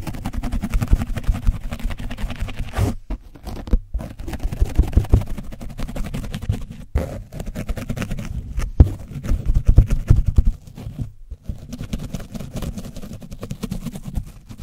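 The edge of a foam brush is scratched over an orange foam microphone windscreen coated with dried paint. The result is dense, rapid, rumbling scraping concentrated in the low end, broken by a few brief pauses.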